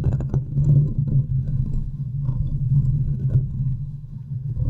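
Long nails and fingertips scratch and tap the top of the hollow domed metal wire-mesh grille on a large silver USB condenser microphone. The result is a dense, close, low rumbling texture with a steady low hum and soft, muffled taps that blur together, with almost nothing bright above it.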